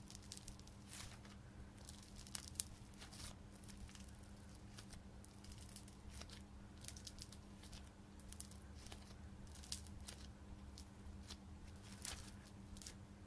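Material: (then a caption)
Knitted yarn. Long dark-painted nails and fingertips scrunch, rub and scratch a small, soft piece of blue glittery knitted yarn fabric held in both hands. A continuous stream of quiet, bright, crinkly scratches and rustles runs throughout, with occasional sharper crackles, over a steady low hum.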